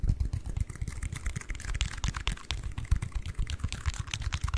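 Fingertips and nails tap and scratch a small, closed, hollow white cardboard ring box held in both hands in front of the mic. Rapid, dry, hollow taps with deep, boomy low thuds mix with lighter, bright scratching ticks, each sound stopping almost at once.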